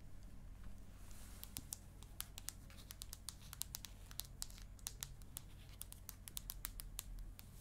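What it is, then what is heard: Aluminium tablet back tapped with nails. Long acrylic nail tips tap on the aluminium back of an iPad mini held up in front of the face. The result is a long, irregular series of short, dry, bright clicks that stop instantly with no ring, over a steady low hum.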